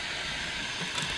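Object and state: Nothing is struck.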